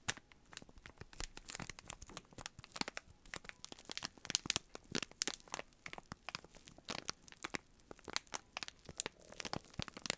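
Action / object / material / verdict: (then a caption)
scrape / cardboard box wrapped in cellophane / cellophane / none. Fingertips squeeze and rub the clear cellophane wrap on a small rectangular cardboard box held close, crinkling the plastic. A dense, quiet stream of sharp, bright crackles and crisp snaps, with little low end and almost no ring after each one.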